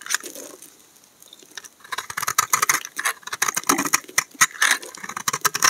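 A steel utility knife blade scrapes shavings off the face of a solid tan brown laundry soap bar held in hand. After a quiet opening, a rapid run of dry, crisp scraping strokes builds up, bright and papery with almost no low end.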